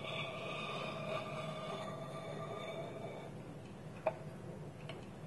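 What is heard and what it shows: Fingertips and nails tap on a small, hollow, polished wooden bowl that sits empty on a table, with its wooden lid held tilted on top. A faint, steady tonal hum with bright overtones fades out after about three seconds. Two short, dry knocks with a quick decay follow in the quiet.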